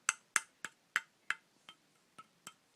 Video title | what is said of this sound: Budk Hitler Youth Knife replica review | when I tap it sounds Hollow cuz it kind of is hollow